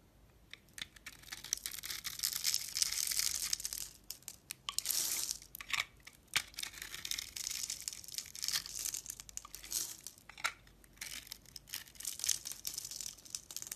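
A utility knife blade scrapes small cubes off the surface of a solid, hand-sized purple soap bar scored in a grid. The sound is a dry, bright, crackly scraping in uneven bursts of crumbling and crunching, with almost no low end and no ring after each cut.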